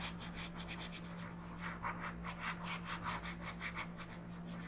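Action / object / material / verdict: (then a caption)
scrape / colored pencil on a paper coloring page / paper / none. An orange colored pencil is rubbed in quick shading strokes across a flat paper coloring book page. Soft, dry scratching strokes repeat in a loose rhythm, bright and papery, over a steady low hum.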